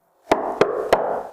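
Knuckle knocks on a drywall panel wall glued on with blobs of drywall adhesive, struck at a spot with no adhesive behind it. Three sharp, hollow, mid-pitched knocks come about 0.3 seconds apart, each with a short boomy resonance, and a fourth is cut off at the end. The spot sounds hollow.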